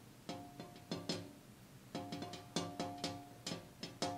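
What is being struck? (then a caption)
Glass window pane. A glass window pane is tapped repeatedly, producing short, bright taps with a clear ringing tone that fades quickly. The taps come in uneven bursts with a brief pause in the middle, all at a quiet level.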